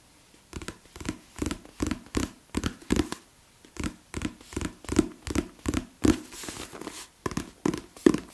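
About twenty short, muffled taps with a low papery thud, each dying away at once, plus a stretch of soft rubbing near the end. The dead, damped sound comes from a thick paperback with a stiff card cover, heard in a small quiet room.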